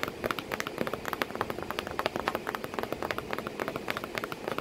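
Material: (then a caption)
Cardboard. Long painted nails tap rapidly and unevenly on the flat flap of a corrugated cardboard box that a cat sits in, with packing paper behind it. About 34 short, dry, papery clicks ring out over a soft steady hiss, each dying away almost at once.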